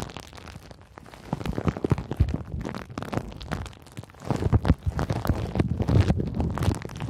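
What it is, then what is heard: Plastic bubble wrap. A handful of clear pink plastic bubble wrap is crinkled and scratched by long nails. The result is a dense run of crackling and crunching, with many short, close-set pops over a deep, rumbling base. It grows louder and busier in the second half.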